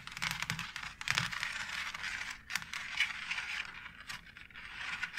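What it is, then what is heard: Plastic faux brick tile scratched and tapped with long nails. Long acrylic nails scratch and tap along a white plastic wall tile embossed with a brick pattern. The result is a bright, dry rasping sound full of quick, clicky taps that die away almost instantly, with most of the energy in the high range around 2 kHz and very little low end.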